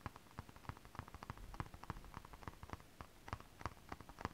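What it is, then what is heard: Holographic scale-print stretch fabric. One hand with long acrylic nails scratches holographic mermaid scale fabric, an iridescent foil scale-print stretch fabric. The result is a quiet, irregular run of short, dry scratching ticks, each with a soft low thud and a papery midrange crackle, with no ring after each stroke.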